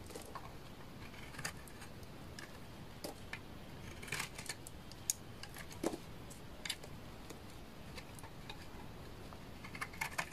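A utility knife blade scrapes and shaves the surface of a hand-held solid bar of dry orange laundry soap. Quiet, crisp scratching and brief bright ticks and crackles recur over a low, steady hiss, with a few sharper snaps standing out.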